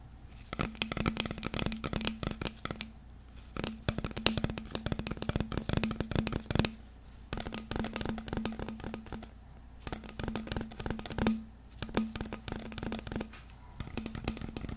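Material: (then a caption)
Plastic. Fingers grip, rub and work the cap and neck of a clear plastic drinking bottle with a green label, held in both hands close to the microphone. Dense, bright crinkling crackles and clicks come in bursts separated by brief pauses, over a steady low hum.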